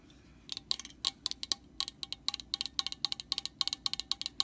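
A long nail taps the top of an orange hollow plastic cap on a metal aerosol can, up close. About 22 quick, sharp, high clicking taps come in a fast, uneven rhythm, each dying away almost instantly, over a faint hiss.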